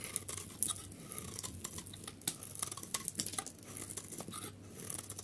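A metal utility blade shaves the edge of a solid, pale yellow dry soap bar held in the hand, peeling it into long curls. The sound is a quiet, dense run of crisp, bright scraping and crackling ticks over a faint low hum, with a few sharper snaps standing out.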